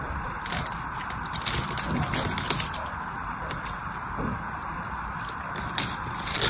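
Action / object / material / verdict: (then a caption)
scrape / bar of soap / soap / none. A blade scrapes and carves a solid teal-green bar of soap held in the hand, curling flakes off it. A steady, dry scraping hiss runs throughout, broken by bright crackly clicks and small ticks as the flakes break away.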